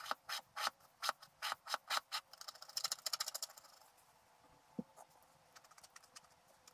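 A wooden stylus scratches across a scratch art sheet held flat, scraping away large areas of the black coating to reveal the colors underneath. Dry, bright scratching strokes come in quick bursts, first about a dozen separate longer strokes and then a rapid flurry of shorter ones, before thinning out into faint, scattered scrapes.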